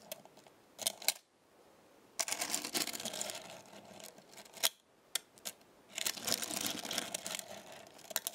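Small metal stars on a black star-shaped magnetic base are pressed and lifted by a fingertip with a long nail. Bright, high clicking and clinking come in short bursts and sharp single taps with quiet gaps between them. Each click dies away almost instantly.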